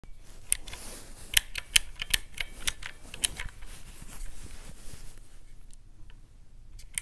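Fingertips rapidly press the round black typewriter-style keycaps of a handheld teal plastic mechanical-key calculator lying on a white cloth. Sharp, bright plastic clicks come in an irregular typing rhythm over a faint low rumble, with a few louder snaps standing out.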